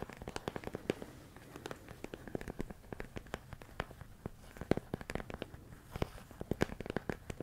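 A medium clear plastic storage container full of rice grains is tapped with fingertips and nails on its sides and lid. The result is a quick, irregular run of short, dry clicks and taps with a faint crackly rattle, kept at a soft, quiet level.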